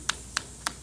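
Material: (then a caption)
Rubber. A loose rubber roof trim strip on a Chevrolet Meriva, which came unglued and beats against the roof when wind hits it above 80 km/h, slaps the roof three times in quick, sharp, bright taps. This is the confirmed source of the noise; taping the strip down stopped it.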